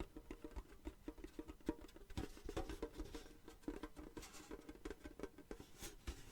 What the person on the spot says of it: tin tapping sounds very very nice but it also reminds me of rain on a tin roof